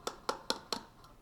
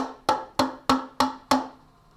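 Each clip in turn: First: Four quick, soft taps with a brief mid-high click and almost no ring: a filled cup, its sound damped. Second: Five evenly spaced taps on an empty cup, each a bright clear ring near middle C that fades fast.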